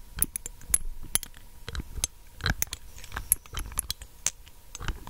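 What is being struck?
Small glass dropper bottle with plastic cap.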